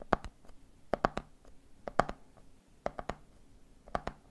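A hand taps the side of a medium clear plastic jar full of peanuts, with a red plastic lid, in quick three-beat clusters. Each tap is a short, dry, hollow plastic knock with almost no ring, sounding mid-pitched and slightly muffled by the peanuts. The clusters repeat at an uneven pace.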